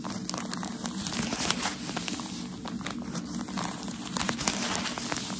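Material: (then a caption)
Paper. A bundle of white tissue packaging paper from a shoe box is held in one hand while the fingertips and nails of the other hand tap and scratch across its top. The result is a steady, bright crinkling and scratching texture, broken by light papery taps and occasional louder crackles.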